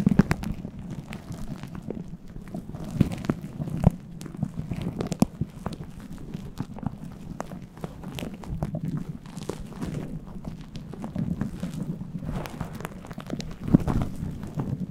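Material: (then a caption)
Synthetic fur. Fingertips and nails scratch and massage the top of a fluffy faux-fur synthetic windscreen on a microphone. The result is a steady, muffled low rumble and rustle, dotted with sharp, brief crackles and clicks that swell slightly louder near the end.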